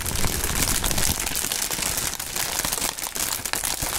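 Fingertips crumple clear polyethylene air-cushion film, mostly deflated plastic air-pillow packaging. It makes a steady, dense crinkling with bright crackles and soft low thumps of handling. It stays at an even level for the whole four seconds.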